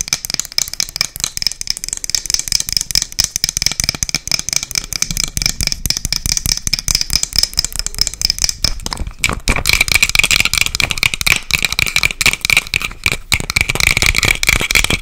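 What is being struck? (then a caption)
Small wooden box. A small, light, hollow wooden box with a dark metal clasp and its lid closed is tapped fast with long nails close to the mic. The result is a dense, continuous stream of sharp, dry clicks that die away instantly, with a bright ringing tone near 2.4 kHz. Around the nine-second mark the tapping grows louder and brighter.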